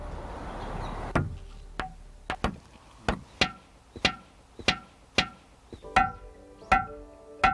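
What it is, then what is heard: Ringing rock with a bell-like tone. Boulders on a rocky scree slope at Sambongsa in Miryang, known as ringing rocks, are tapped in turn about a dozen times at an uneven pace. Each strike gives a sharp, bright, bell-like tone centred around 750 Hz that rings briefly, and each stone sounds slightly different. Soft music plays underneath.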